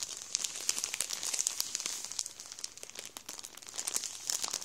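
A hand rubs and presses the surface of a full Warburtons plastic bread roll bag with its fingertips, crinkling the plastic. The result is a steady stream of bright, crisp crackles and sharp snaps with almost no low end, swelling and easing as the fingers work over the bag.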